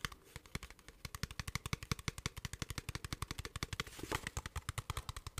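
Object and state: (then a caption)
Plastic water bottle. A clear, hollow plastic water bottle with a blue cap, partly filled, is tapped rapidly with fingertips and nails. About fifty quick, dry taps land in a steady stream, each a short low thump with a bright click on top. A brief rustle of noise rises near the end.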